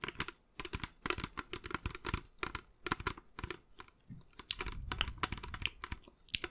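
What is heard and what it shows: A clear plastic carbonation bottle of about 1 litre, with a black cap and black base and mostly empty, is held in both hands and tapped and scratched along its sides with long nails. Quick, sharp clicks and scratches come in dense bursts with short pauses between them, and a lower rustling runs underneath toward the end.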